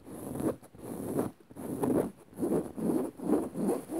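Long rounded nails from both hands scratch a dark woven fabric on a soft padded upholstered cushion. The result is a series of soft, low-mid rasping strokes that swell and fade in an uneven rhythm, with no bright edge.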